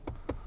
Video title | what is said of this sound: 신형 아반떼 풀체인지 시승기(2464만원, 풀옵션)..."새로운 국민첫차" | this is plastic It seems to be well assembled